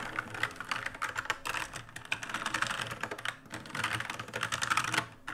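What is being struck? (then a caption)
Mechanical keyboard with plastic keycaps. Fingertips type rapidly on an RGB-lit black plastic mechanical keyboard with plastic keycaps, and a hand sweeps across the keys. The result is a dense run of short, crisp clicks and clacks, bright and centered in the mid-highs with very little low end. Two louder, busier stretches come from the hand sweeping over the keys.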